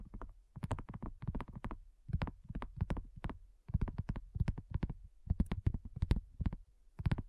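A large, thin, solid pink dotted silicone coaster lying flat on a black cloth is tapped quickly with fingertips and nails and lightly scratched with both hands. The result is rapid bursts of soft, dull, low thumps with very little ring, punctuated by brief brighter clicks from the nails.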